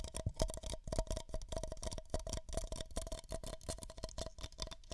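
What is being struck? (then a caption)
Paper cups. Two identical empty beige paper cups, hollow, are tapped and scratched with long nails while held close against the microphone ears. Quick, dry, papery taps and scratches come in a dense, uneven run with a faint hollow tone ringing under them, each one dying away almost at once.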